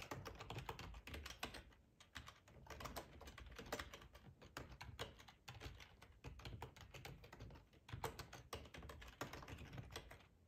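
Fingertips type steadily on a black plastic ergonomic split keyboard with a hollow housing resting on a cloth tablecloth. Quick, dry key clicks and taps run in dense bursts with a soft low thump under each stroke, broken by a few short pauses. Each keystroke dies away almost at once.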